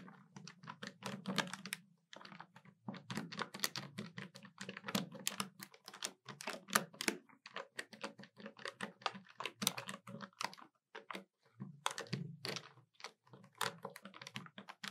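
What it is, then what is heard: Plastic desktop calculator keys tapped with nails. Both hands tap the keys of a hollow black plastic desktop calculator quickly with long nails. The result is a rapid stream of short, bright plastic clicks over a soft hollow low thud, broken by brief pauses near the 2- and 11-second marks.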